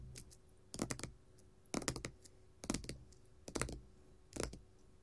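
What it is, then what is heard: Glitter faux leather sheet tapped with metal nail caps. A flat red glitter faux leather sheet resting solidly on a table is tapped with long gold metal nail caps worn as finger jewelry. Five quick bursts of light, clicky taps come at uneven intervals, each mixing a soft low thud with a bright tick that dies away almost instantly. Faint low background noise fills the gaps between bursts.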